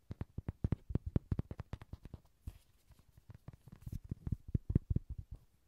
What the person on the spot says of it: 귀여운 로디 장난감 두드리는 소리